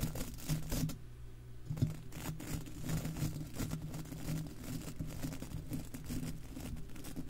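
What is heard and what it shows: Bristles of a golf club cleaner are scrubbed back and forth over a hollow, silver wire-mesh microphone head. The result is a close, continuous scratchy brushing with a heavy, rumbling low end and quick raspy strokes. A brief quieter gap comes near the one-second mark before the scrubbing resumes.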